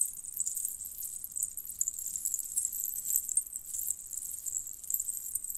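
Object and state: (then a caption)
Metal jingle bell necklace. Bunched strands of small, hollow, colored metal jingle bells on a red cord are squeezed and rubbed by fingers with long painted nails. This makes a quiet, continuous, bright jangling shimmer with no low-end body. The many tiny clinks blur into a steady, glittering rattle for the whole clip.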